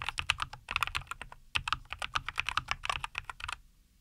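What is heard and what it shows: Both hands type continuously with fingertips on a NuPhy Air75 V2, a compact 75% mechanical keyboard with a white case, green and white plastic keycaps and linear Cowberry switches, resting on a wooden desk. A rapid, uneven stream of short, bright, clacky keystrokes with almost no ring is heard, each with a faint low thud. The typing stops at about 3.6 seconds, leaving near silence.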